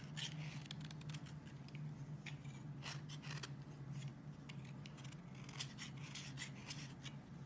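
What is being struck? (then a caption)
Bar of soap shaved with a metal blade. A metal blade shaves thin curls from the edge of a solid green soap bar, now thinner, held by fingers with long nails, with a pile of flakes lying below. Rapid, crisp scraping strokes with bright, brief attacks repeat steadily over a constant low hum.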